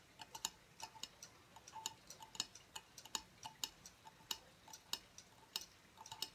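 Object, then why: Thin aluminum tablet stand plate. Fingertips and nails tap the thin, rounded aluminum plate of a silver aluminum tablet stand lying tilted on a wooden table. Quiet, bright, metallic clicks come in an irregular run, each one very short with a faint mid-pitched ping and almost no low end.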